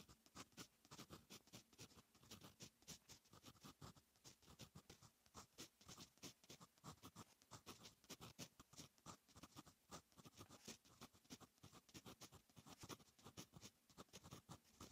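A fine metal fountain pen nib writes on a lined paper notebook page, making a steady run of quiet, dry scratching strokes. Many short, bright scratches follow one another closely with very little ring.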